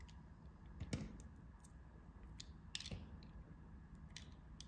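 A metal blade cuts notches and slices into a solid, flower-carved yellow soft bar soap held in the hand. Quiet, crisp scraping and clicking cuts sound over a low, steady rumble, with the two strongest bright cuts near one second and three seconds.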